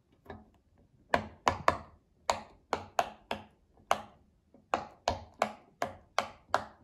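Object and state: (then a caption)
Silicone pop-it fidget toy. A child presses the hollow bubbles of a round pink silicone pop-it fidget toy with her fingertips, then holds it up. Fifteen distinct, short, dry pops with a hollow midrange snap and a bright click follow one another at an uneven pace, with faint softer taps in between.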